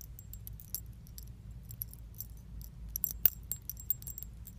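A small metal chain keychain with pink leaf charms is dangled from the fingers and shaken, so the chain and charms jangle together. The result is quiet, bright, short metallic clinks and tinkles scattered throughout, with one sharper clink near the middle, over a steady low hum.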